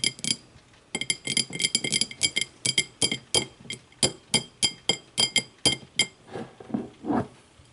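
Long matte nails tap the walls and thick base of a small, empty, clear glass whiskey tumbler as it is tilted and then held upside down. The taps come in quick clusters and then spaced single clinks, each with a bright, glassy ring near 3.2 kHz that fades almost at once. The final tap is softer and duller.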